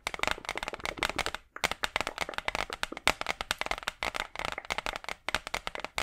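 A large, flat, brown hardboard clipboard, a solid thin board held in front of the mic, is tapped and scratched with long acrylic nails. The result is a rapid stream of dry, crisp clicks and scrapes that are bright and short-lived, with a brief pause near the middle.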